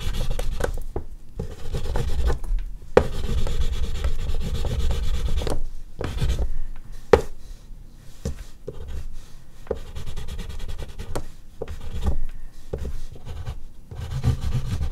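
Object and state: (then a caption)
Oil pastel on artist's paper. An oil pastel stick is rubbed and scratched in short strokes across a large flat sheet of artist's paper resting on a board, with the hand staying on the drawing. The result is a steady, low, dry scratching and rubbing texture, broken by brief pauses between strokes and a couple of sharper scrapes.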